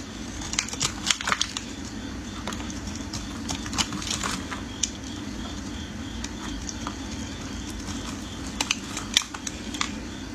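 A metal blade shaves curls from the end of a solid yellow bar of soap held in the hands. Crisp, bright scraping crackles and sharp clicks come in bursts over a steady low hum.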